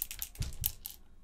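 A broken electric egg boiler with a metal and plastic housing is turned upside down and shaken, and a loose part rattles inside it. The rattle comes as a quick series of light, bright clicks with a couple of duller low knocks, then fades to quiet.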